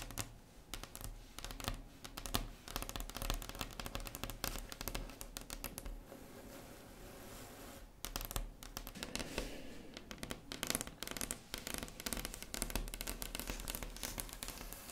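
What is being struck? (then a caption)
Wooden tabletop. Long red acrylic nails on both hands tap and scratch across a large, solid, flat wood-grain tabletop, making a quick, dense run of crisp, dry clicks with a bright edge. The tapping eases into a softer, steady scratching for a couple of seconds mid-clip before the rapid tapping resumes. A low, steady hum runs underneath throughout.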